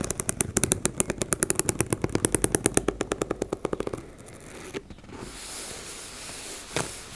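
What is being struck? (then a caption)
Embossed fabric cosmetic pouch. Flat fingers and nails rub a teal embossed-fabric makeup bag in a fast, even run of dozens of scratchy strokes for about four seconds. The scratching then gives way to a softer, bright fabric rustle, with a couple of sharper touches near the end.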